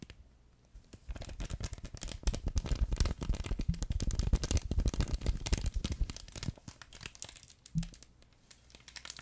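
A yellow plush fabric duck pet toy with an orange foot and a crinkle insert inside is crumpled and squeezed with both hands behind the mic. After a quiet start, dense, crackly crinkling builds into a busy stretch of rapid, uneven bursts. It then thins out into sparser crinkles with one brief louder squeeze near the end.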